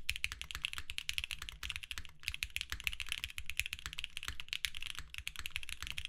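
Both hands type steadily with their fingertips on a compact 60% mechanical keyboard with lavender, purple and white plastic keycaps, a hollow white case over a desk mat, an FR4 plate and filmed Alpaca switches. A rapid, continuous stream of short, crisp keystrokes sounds: bright clacks over a low, hollow thock, each one dying away almost instantly.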